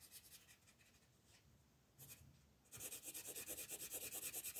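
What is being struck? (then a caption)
Colored pencil on a paper page. An orange colored pencil shades a large area of a flat paper coloring book page with rubbing strokes. Soft, quiet strokes give way after a few seconds to louder, rapid, evenly paced scratchy strokes with a bright, papery rasp.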